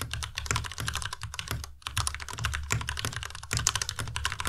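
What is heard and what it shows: A white plastic tenkeyless Ducky Miya Pro mechanical keyboard with RGB backlight is typed on quickly with the fingertips of both hands. The result is a dense, steady stream of short, bright plastic clacks over a low thocky body, with brief lulls near 1.8 and 3.5 seconds.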